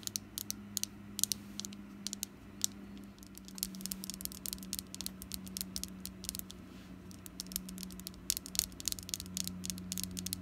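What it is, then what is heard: Wax pumpkin candle. Long black nails tap and scratch on a small, solid orange wax jack-o'-lantern candle. Dozens of sharp, bright clicks come in quick irregular bursts over a soft scratchy rustle and a steady low hum. Each tap dies away almost instantly.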